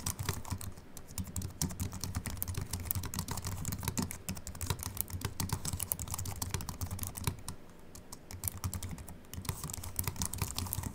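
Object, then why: Slim keyboard with aluminium body and plastic keys. Continuous fingertip typing with both hands on a slim Apple Mac keyboard with an aluminium body and white plastic keys. A rapid, steady stream of short, dry key clicks with bright tops sits over a soft low thump, with brief lulls between bursts.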